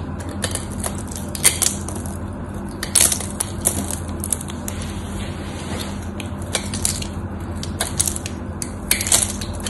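A craft knife blade carves into the scored surface of a solid white soap bar, making a run of crisp, crunchy cuts with bright clicks and scrapes as crumbly chips break off. The cuts come in irregular bursts over a steady low hum.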